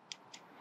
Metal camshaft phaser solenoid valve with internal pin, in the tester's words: you should be able to shake it like this i don't know if you can hear it click